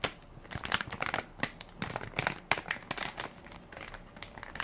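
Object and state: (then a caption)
Plastic baby wipes soft pack. A hand-sized Equate baby wipes soft pack made of crinkly plastic film, full of wipes, is held in one palm while fingertips and nails press and crinkle the film. The result is a stream of sharp, bright crackling bursts with very little low end, each snapping off almost instantly between quieter rustling.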